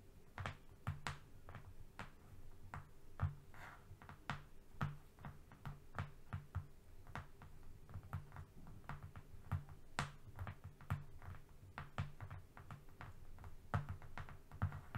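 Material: Cardboard.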